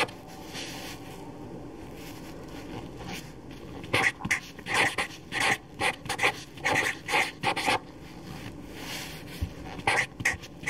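A black permanent felt-tip marker held in the hand writes continuously on a single sheet of paper lying on a table. After a few seconds of faint hiss, the tip rubs and scratches the paper in a rapid run of short, bright squeaky strokes with a tone near 2 kHz. It pauses, then adds a few more strokes near the end.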